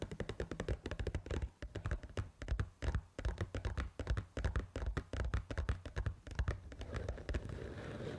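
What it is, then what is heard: Paper noodle cup tapped. Long pointed acrylic nails tap quickly on the sealed lid and rim of a small, pink printed paper Pad Thai rice noodle cup that appears full. The taps are dull, low, close-up thunks with a very short ring, coming in uneven bursts. They give way to a softer, continuous scratchy rustle at the end.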